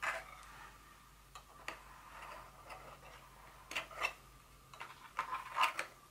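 The tips of long fingernails tap a small, white, hollow cardboard insert from a Dior perfume box resting on a table. About nine light, dry taps come at an irregular pace, each a bright papery click with a mid-range hollow tone and almost no ring. Louder clusters fall near the middle and end.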